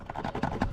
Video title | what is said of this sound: Essentials For Drifting My G35 Sedan/ Camber & Toe Arms, Fire Safety and More | It's pretty secure, it's not gonna be moving all around. I kept tapping this. I know it's gonna rattle a little bit